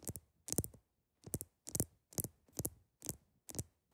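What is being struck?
Large ice block.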